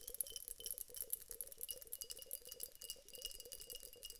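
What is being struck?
Glass vase filled with water beads.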